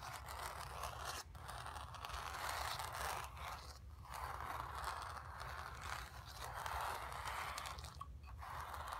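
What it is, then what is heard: Painted canvas being scratched. Long nails scratch across the surface of a painted stretched canvas, making a continuous rough, papery scraping sound centered in the midrange with a low rumble underneath. The strokes run in long passes with brief dips and pauses between them, holding at a fairly steady level throughout.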